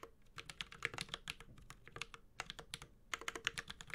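A Space65 Cybervoyager 65% mechanical keyboard, with a white-gold aluminum case, plastic keycaps, a carbon fiber plate and Holy Panda tactile switches, is typed on steadily with the fingertips of both hands. A quick, uneven run of sharp, bright clacks follows, each dying away almost instantly, with a light low thock beneath and brief pauses between bursts.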